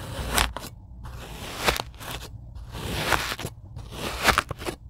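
A handheld rocker blade cuts lines into a tray of packed beige kinetic sand. Each pass makes a soft, gritty crunch and scrape with a bright, hissy edge and a faint low thump, with brief near-silent pauses between the cuts.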